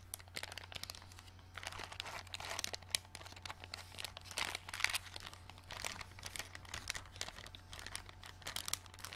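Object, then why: Thin plastic bag holding small plastic stars. A small flat clear plastic packet full of pale green glow-in-the-dark plastic stars is held and bent, crinkled and pressed with fingertips and long dark nails. Dense, bright crinkling and crackling rises and falls in bursts throughout, over a steady low hum.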